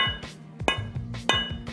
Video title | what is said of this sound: Ep. 01 - Como escolher o kettlebell ideal? | esse é um som mais oco